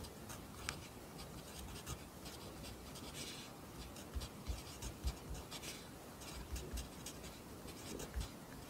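A pencil writes Korean handwriting on the right page of an open lined paper notebook resting on a desk, with graphite scratching steadily across the paper throughout. The quiet, bright scratching is broken by soft, short taps as the pencil lands and lifts between strokes.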